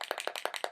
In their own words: vous entendez une petite bille à l'intérieur donc je secoue pour bien mélanger